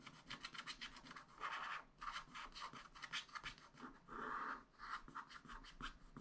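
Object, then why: Black-coated scratch-art paper with wooden stylus. A wooden stylus scratches the black coating at the lower right of a sheet in a spiral-bound scratch-art pad. Quick, dry scratching strokes alternate with longer rubbing swells near 1.5 and 4.3 seconds, with a raspy tone centred around 1.2 kHz and a bright hiss above it.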